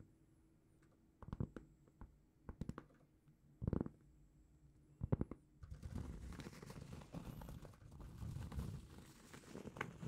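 A large, solid, flat round cork trivet is held in both hands and scratched with long painted fingernails. A few short, dull, low scratching bursts separated by quiet are followed by continuous rough scratching and crinkling that lasts to the end.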